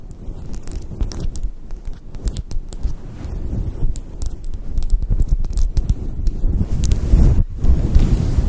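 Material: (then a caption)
Synthetic fur. Long acrylic nails scratch and rub a fluffy grey faux-fur microphone windscreen. The result is a dense, muffled low rumble of rustling, with quick scratchy ticks flicking through the high end. It grows steadily louder and fuller toward the end.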